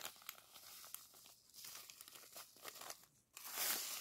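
Fingers squeeze, rub and crinkle a small clear plastic zip-lock bag of purple sand granules held in the hands. The result is quiet, bright crinkling and gritty crackling with a few sharp clicks and brief near-silent pauses. It ends in a louder, hissy rustle.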